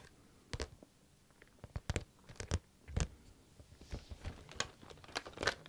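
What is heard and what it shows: A pink plastic or vinyl zip case with a floral print, held close to the microphone, is tapped and lightly scratched with fingernails. Quiet, irregular taps and crinkly scratches come in short bursts with brief gaps of silence, each sound stopping almost at once.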